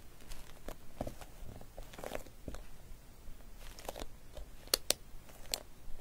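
Long nails tap and scratch across the face of a flat clear vinyl zip pouch with loose glitter inside and metallic pink trim, lying flat. Soft, crinkly scratching and tapping runs throughout, broken by a few sharp, bright clicks toward the end.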